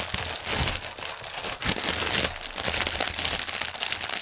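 Fingertips and nails scratch the film of a strip of inflated clear polyethylene air cushions, hollow and air-filled, lying on a table. A dense, steady bright crinkling with fast overlapping crackles continues throughout, and a faint low rumble sits underneath.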